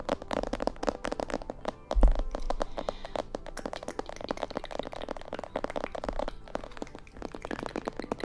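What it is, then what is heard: Plastic mannequin head. Long painted nails tap and scratch the sides, ears and back of a life-size, glossy black plastic mannequin head, likely hollow. The result is a dense stream of short, crisp clicks and dry scratches with little ring, and one louder knock near the two-second mark.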